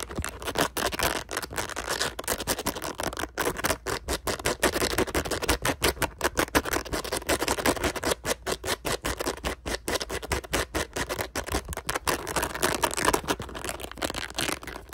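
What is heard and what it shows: Fingertips and nails scratch and rub fast across a palm-sized, blue, ring-shaped rubber or silicone toy covered in small spikes and hollow in the middle. A dense, steady stream of quick, crackly scratching strokes carries bright, hissy texture with little low end, with the strokes too rapid and overlapping to count.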